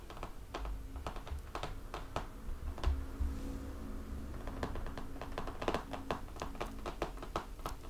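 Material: Cardboard.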